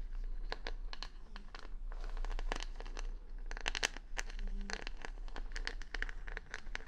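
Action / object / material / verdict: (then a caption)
scrape / wooden hair brush with plastic rhinestone stickers / wood, plastic / none. Long nails scratch over the colorful plastic rhinestone stickers covering the back of a hand-sized solid wooden paddle brush, held close to the mic. The result is a dense run of quick, bright clicks and crinkly scratches with no ring, over a steady low hum.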